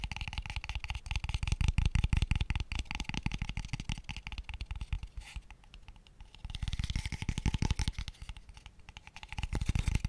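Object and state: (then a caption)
Hollow light wooden tube box. A small, light, hollow square tube box of pale wood, empty, is tapped very fast with fingertips and nails. It gives a dense stream of dry, hollow knocks, heavy in low thud with bright clicky edges from the nails and no ring. The tapping swells louder, eases off in the middle, then builds again twice toward the end.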